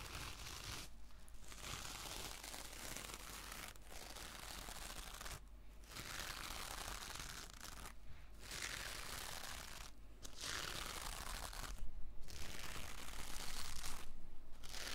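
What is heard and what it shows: A small rectangular kitchen sponge with a sparkly gold textile mesh cover, soft and compressible, is held in one hand and slowly scratched over its rough surface with long painted fingernails. The result is a dense, continuous crinkly scratching that covers a wide range up into the high end, broken by brief quiet gaps every couple of seconds, over a steady low hum. It grows somewhat louder toward the end.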